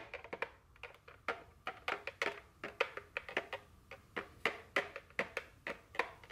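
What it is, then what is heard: Cardboard candy box. A small printed cardboard chocolate candy box, apparently full and sealed, is held in the hand and tapped and scratched with very long fingernails. About 28 quick, dry clicks and taps sound in an uneven rhythm, each with a bright papery crackle centered around 2 kHz and almost no ring. Soft scratchy rustling fills the gaps between them.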